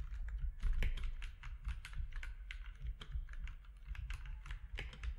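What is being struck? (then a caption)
Mechanical keyboard with plastic keycaps. Fingertips type on a compact mechanical keyboard with plastic keycaps, one hand at the start, producing a rapid run of short, sharp clacks with bright tops. A steady low rumble sits beneath the clicking throughout.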